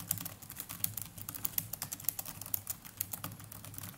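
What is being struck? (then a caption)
Plastic laptop keyboard. Fingertips of both hands type continuously on the plastic chiclet keys of a small black netbook keyboard. About 28 quick, soft keystrokes click in an uneven rhythm, each short and crisp with bright high tops, over a steady low background hum.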